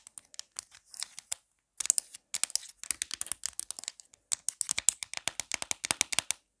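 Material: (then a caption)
Plastic. Long black nails tap quickly on the back of a marble-print plastic phone case with a pop grip, producing a rapid, uneven run of sharp, dry clicks and ticks. The sound is bright and high with almost no low end, and each tap dies away instantly, with brief pauses between bursts.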